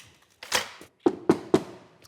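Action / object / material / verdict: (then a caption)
knock / thin wood sandwich panel without honeycomb core / thin wood / hollow. Knocking on a sandwich of two thin wood panels with no honeycomb cardboard core between them gives a series of dull, hollow knocks. The last three are sharp and evenly spaced, each a short thud centred near 340 Hz that dies away quickly. The panel sounds completely hollow and flexes because the wood is very thin.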